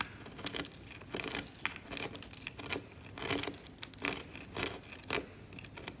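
A steel scalpel blade scrapes the varnish layer of a flaking varnished oil painting on canvas. It makes a series of short, bright, dry scratching strokes with almost no low end, separated by quiet pauses, and each stroke stops without ringing.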